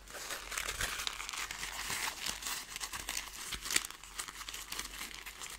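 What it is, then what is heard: Crumpled foil paper ball. A loose ball of thin, crumpled gold foil paper is squeezed and crinkled with fingers and long nails. It gives a steady, bright, crackling rustle with many quick, sharp crinkles and almost no low end. One sharper crackle stands out near the middle.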